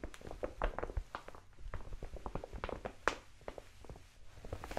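A large brown kraft paper mailer envelope, seemingly empty, is held in both hands and tapped and scratched with long nails. Soft, papery taps and crinkly scratches come in quick, uneven bursts, with a low thump beneath and a few sharper, brighter taps standing out.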